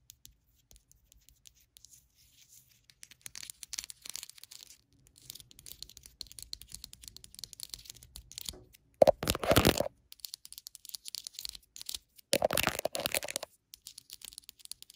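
Long acrylic nails tap quickly on the labelled bottom and ribbed side of a small ribbed white ceramic candle jar filled with wax while the jar is turned in the hand. Soft, dry, bright clicks and scratchy rubbing run throughout, broken by two louder, rasping bursts with a ringing tone around 570 Hz.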